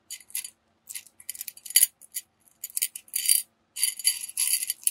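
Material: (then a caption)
Metal beads. Fingertips stir and rub small gold tube-shaped metal beads inside a small clear glass jar that is partly filled and held tilted in one hand. The beads rattle against the glass in quick, bright bursts of crisp clicks and tinkles, with short silent gaps between them. The sound has no low end, and each click dies away almost at once.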